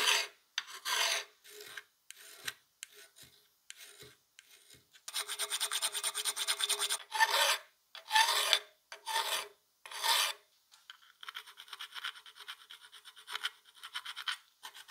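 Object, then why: Steel plier half. A solid steel plier half, its jaw end clamped in a vise, is worked by gloved hands with flat and needle steel files. Bright, rasping scraping strokes come in irregular bursts, some short and some long and sustained, with a faint ringing tone under the strokes.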